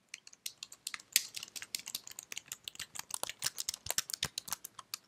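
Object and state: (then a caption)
Plastic computer keyboard being typed on. Fingertips with long red nails type on a white slim plastic keyboard held in one hand, producing a rapid, uneven run of about thirty crisp clicks. Each tap is dry and bright with almost no low end, and dies away instantly with no ring.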